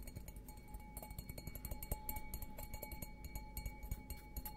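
An empty stemmed glass beer goblet, held upside down, is tapped repeatedly on the bowl with fingertips and nails. The quick, irregular taps give soft dull knocks and bright clinks over a faint, steady glassy ring.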